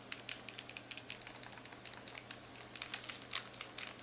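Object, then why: Plastic graphing calculator keypad. Several long acrylic nails quickly tap, click and scratch across the plastic buttons of a black plastic graphing calculator keypad. A rapid, uneven string of sharp, bright clicks sits over faint crinkly scratching, each click dying away almost instantly, with almost nothing in the low end.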